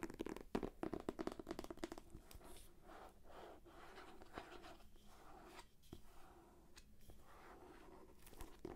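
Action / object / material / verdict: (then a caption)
scrape / paperback book in plastic shrink wrap / paper, plastic / none. Long nails scratch and tap the cover of a thick, solid paperback book sealed in plastic shrink wrap. Quiet crinkly scratching is busiest in the first two seconds, then settles into softer rubbing. Occasional short, dry taps cut through and die away almost instantly.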